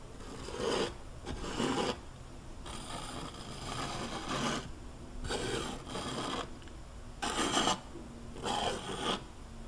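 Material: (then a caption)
Canvas, oil paint. A metal palette knife is drawn across a large flat canvas panel covered in wet oil paint, scraping paint onto a mountain shape. A series of short, gritty scraping strokes rasp with a bright edge, separated by quieter, softer smearing.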